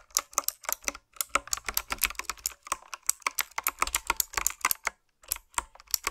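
Fingertips and long nails type on a retro, typewriter-style mechanical keyboard with round plastic keycaps. The result is a steady run of quick, bright, clicky keystrokes with very little low end, broken by two brief pauses.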